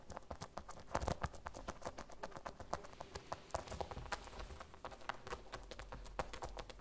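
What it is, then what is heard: Vinyl zip pouch tapped with fingernails. A small, flat, hollow cartoon-print vinyl zip pouch, held in both hands, is tapped rapidly with long red nails. The result is a steady, quiet patter of short, dry clicks with almost no ring, like a light clip-clop.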